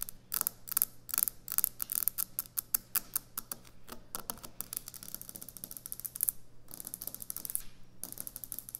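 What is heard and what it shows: Long nails tap and scratch rapidly on a solid white speckled quartz kitchen countertop. Quick, dry, bright clicks come in an uneven rhythm, broken by short, hissy scratching bursts, over a steady low hum.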